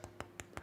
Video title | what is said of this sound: AMC Moon Gang! AMC Live Price Action! Treyders Podcast 64 | it's got that nice nice nice crisp bottom which is good